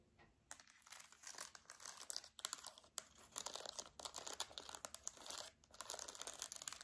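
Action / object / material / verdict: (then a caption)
tap / plastic TV remote control / plastic / none. Long nails tap and press the buttons of a silver plastic TV remote held in both hands. The result is a quiet, rapid stream of crisp, bright clicks and taps with almost no low end, coming in bursts separated by brief pauses.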